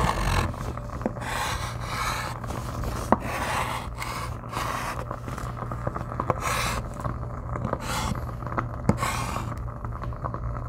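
A white chalk stick draws lines across a flat, solid black slate-style chalkboard in a gold frame resting on a wooden table, with a lapel microphone held close to the board's surface. Continuous scratching and rubbing strokes come in repeated bright, hissy bursts over a steady low hum, broken by a few sharp clicks of the chalk tip.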